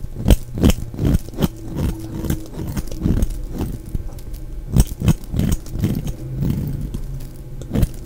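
A solid, dry, round orange bar of soap held in the hand is scraped and shaved with a utility knife blade, producing fine shavings. Repeated short, low crunching scrapes come in quick bursts, each dying away almost at once, with brief bright crackles on the sharper strokes.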